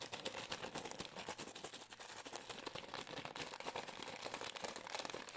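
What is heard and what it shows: A small green and white Pür gum plastic pouch, held in both hands, is crinkled, squeezed and scratched with long nails. The result is a dense, continuous run of sharp, bright crackles and scratchy ticks with almost no low end, each dying away instantly.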